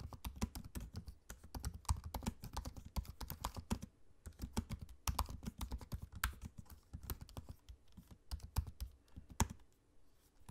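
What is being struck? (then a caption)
Laptop keyboard, plastic keys in aluminium body. Fingertips of both hands tap continuously on a dark grey laptop keyboard with plastic keycaps set in an aluminium chassis. The result is a steady stream of short, dry, low-weighted clicks and thuds with brief bright ticks. A few keystrokes land harder than the rest, and the typing pauses briefly near the middle and end.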